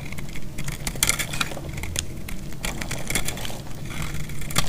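A solid, dry yellow bar of soap is held in the hand and sliced and scraped with a metal utility blade. The cuts make a steady run of dry, crumbly crunches and crackles, with sharp bright clicks around 2 kHz over a low rumble. The loudest snaps come near the start and the very end.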